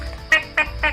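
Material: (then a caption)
Fruit. Three sharp knocks on an unripe Long Lablae durian that is not yet ready to eat give short, bright, cracked-sounding taps with almost no ring. The cracked sound comes from flesh inside that is still full, with no gaps.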